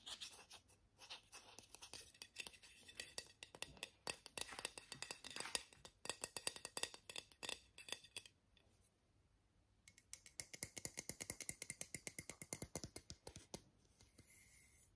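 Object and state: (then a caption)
Aluminium aerosol spray can. A small travel-size Borotalco aerosol deodorant can, with an aluminium body and a green plastic cap, hollow and pressurised, is held in both hands and tapped with short natural fingernails and fingertips. Rapid, crisp, bright metallic taps with almost no ring run in dense bursts. The tapping pauses briefly midway, then resumes just as quickly.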